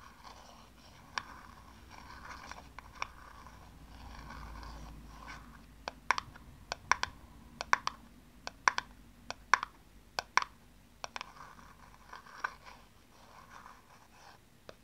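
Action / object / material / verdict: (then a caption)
tap / plastic aerosol cap / plastic / none. Long nails tap the sides of a small, hollow, empty blue plastic aerosol cap held close up, producing sharp, dry clicks with a bright edge that die away almost instantly. Soft scratchy rubbing fills the first few seconds, followed by irregular bursts of quick taps scattered across the rest of the clip.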